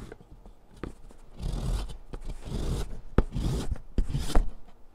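A hand with long nails grates a solid green chalk stick over a metal mesh foot file resting on cardboard. Gritty, broadband rasping strokes swell and fade, broken by sharp ticks and clicks. The sound has a heavy low-end rumble.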